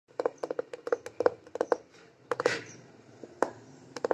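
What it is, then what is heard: Plastic scooter speedometer cover. Fingertips and short nails repeatedly tap the clear plastic lens of a hand-sized, mounted scooter instrument cluster, a speedometer dial with an LCD panel set in a grey plastic housing that is hollow behind the lens. The result is quick, dry, hollow clicks with a plasticky tone around 490 Hz, arriving in irregular bursts of single and doubled taps. A brief brighter brushing scrape sounds midway before the sparse taps resume.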